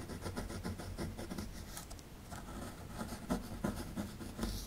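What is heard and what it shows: A metal pick scratches and chips at the right side of a solid plaster fossil dig block, knocking loose plaster crumbs. Quick, uneven strokes of dry, gritty scraping carry a dull low thud, with short sharper chips standing out in the second half. Each stroke dies away almost at once.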